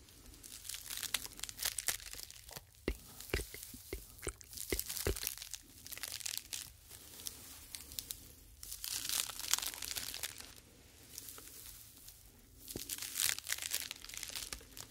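Two small, light, hollow white sleeves of expanded polyethylene foam mesh, the kind used as fruit protector nets, are squeezed and rubbed with the fingertips on both sides of the head. They give a bright, crinkling, tearing-like crackle of many tiny dry snaps. The snaps come in waves of busier and quieter stretches, with little low end.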